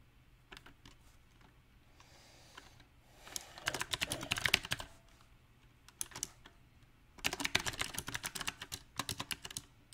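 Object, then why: Mechanical keyboard with round plastic keycaps. Fingertips type on a compact backlit mechanical keyboard with round plastic typewriter-style keycaps. Scattered single key taps give way to two quick, bright bursts of clicky typing, each tap sharp and short with almost no ring. The rhythm stays uneven, with quiet pauses between the runs.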